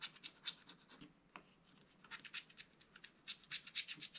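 A wooden stylus scratches and rubs away the black coating in the tree and sky area of a scratch-art card page in a spiral book. Quiet, dry, bright scratching comes in rapid short strokes with almost no low end, easing briefly near the middle before picking up again. Each stroke stops almost instantly with no ring.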